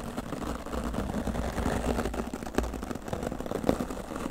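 A dark grey foam windscreen on a microphone, solid and soft, is brushed with a hand-held oval wooden-backed natural-bristle dry brush while long nails rest on the foam. A steady, muffled scratching rustle with a heavy low rumble continues throughout, broken by a couple of sharper scuffs near the end.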